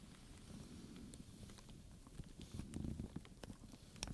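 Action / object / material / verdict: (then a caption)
tap / leather handbag with metal studs / leather / none. A wooden pointer and fingertips with long nails tap and scratch the metal studs and black pebbled leather on the front panel of a studded leather handbag. Soft, low scratching and rustling runs throughout, broken by brief, bright clicks and taps that cluster toward the end. The overall level stays quiet.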